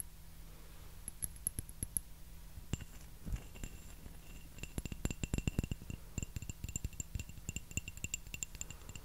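Fingernails tap a small, hollow, empty white porcelain teacup with a floral pattern. Many quick, bright clinks sound in irregular bursts; each one is short with a faint high ring, over a low steady hum.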